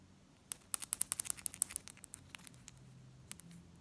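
Long acrylic nails tap and scratch the face and rim of a small solid bimetallic Egyptian one pound coin (silver-coloured ring, gold-coloured centre) held up between the fingers, while other coins lie untouched on a glass table below. About 22 quick, bright, dry clicks with almost no ring come in a fast burst, then thin out into sparser taps and faint scratching over low background hum.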